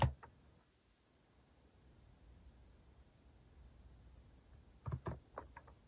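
Fingertips press keys on a compact mechanical keyboard with a white plastic case and cat-themed plastic keycaps, resting on a wooden desk. About six short, deep clacks are heard: two at the start, then a quick cluster near the end. A long, quiet pause separates them.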